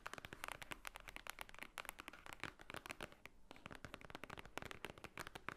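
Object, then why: Thick paper book cover. Long nails tap quickly on the top cover of a large, thick, white-edged paper book lying flat. The result is a rapid run of short, dry, crisp clicks with a bright edge and almost no ring, with a brief pause around the middle.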